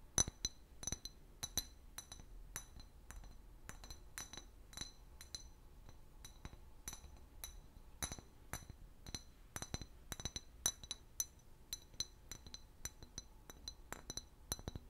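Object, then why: Clear glass bottle. Long fingernails tap an empty, large, hollow clear glass liquor bottle with a paper label in a quick, uneven series of light taps. Each tap is a bright, high glassy clink that dies away almost at once over a quiet background.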